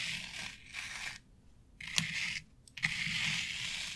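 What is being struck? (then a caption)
Synthetic turf board. Long nails scratch across a flat board covered with synthetic turf, dragging through the artificial grass fibers. The result is bright, crunchy rustling in bursts separated by brief near-silent pauses, with a couple of sharp clicks standing out in the second half.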